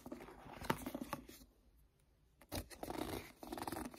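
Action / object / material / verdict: tap / paperback book with card cover / card / none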